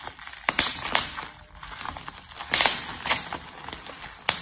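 Fingertips with yellow painted nails from both hands press and pinch clear plastic bubble wrap, with its hollow air-filled bubbles, wrapped over a plastic box lying flat on a table. The result is sharp, bright pops and crackles scattered over a soft, continuous crinkling hiss. The sound is almost entirely high-pitched with very little low end, and each pop dies away quickly.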